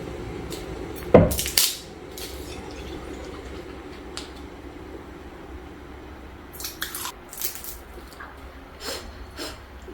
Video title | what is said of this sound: #shortsviral #shorts | Crispy talaga. Maririnig mo yung tunog ng crispy lechon pork belly.